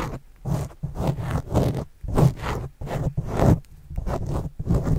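A white plastic stylus tip writes and scratches across a black foam windscreen over a microphone. The result is a run of soft, muffled, low scraping strokes in irregular bursts, then the stylus is pulled back.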